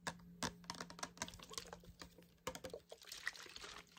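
A medium clear glass bottle with a black cap, partly filled with clear liquid, is tapped and scratched with fingernails. The result is a rapid, uneven series of sharp, dry clicks and bright scratching over a faint steady low hum, with possible soft sloshing of the liquid.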